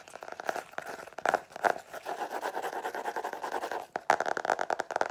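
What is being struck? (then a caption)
Cardboard hardcover notebook. Long nails tap and scratch the black and white geometric cardboard cover of a book-sized hardcover notebook held upright. Quick dry clicks mix with a steady rasping scrape that fades briefly near four seconds before sharper taps return.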